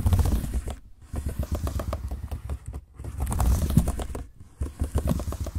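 Fingertips type and tap rapidly on the dark plastic chiclet keys of a silver laptop keyboard. Dense, quick clicks and thuds carry a heavy low-end weight, broken by a few brief pauses between bursts.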